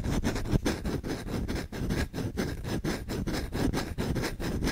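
A solid-wood kitchen spoon with visible grain is held in the hand while its bowl is scratched quickly with short fingernails and fingertips. The result is a fast, uneven run of dry rasping strokes, about two per second, with a dull, low-heavy tone and little high-end brightness. Each stroke fades almost instantly with no ring.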